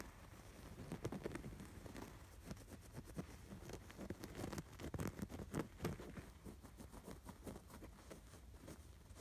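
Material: Canvas.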